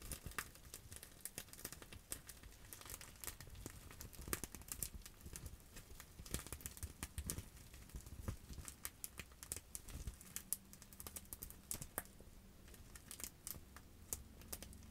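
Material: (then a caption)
Plastic. A sheet of clear plastic bubble wrap held in the hands is scratched and tapped with long acrylic nails. The result is a quiet, steady stream of sharp, bright crinkling clicks and taps with dry crackling in between. A faint low steady hum sits underneath.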